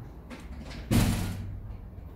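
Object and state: Faulty shock absorber with internal clunk.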